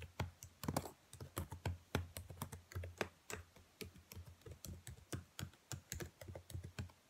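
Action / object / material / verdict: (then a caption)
tap / plastic laptop keyboard keys / plastic / none. Long nails and fingertips type rapidly on the black plastic keys of a dark laptop keyboard, making a quick, uneven run of sharp clicks over 7 seconds. Each tap has a soft low thump with a bright, dry click on top that stops almost at once.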